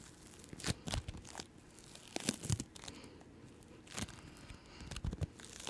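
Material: Bead slime.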